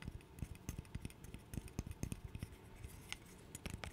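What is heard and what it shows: Fingernails scratch across the surfaces of a small, light-wood interlocking burr puzzle of solid blocks held close to the mic. The result is a quiet series of short, dry scratches and clicks with thumpy low-end weight, soft bright edges, and no ring.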